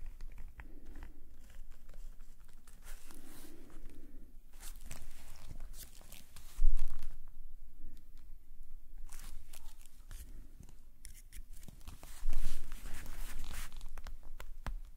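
A metal nib pen scratches lines across a black paper sketchbook page lying flat. Dry, papery scraping strokes come in irregular runs over a low background hum, with two louder, harsher bursts of scratching midway and near the end.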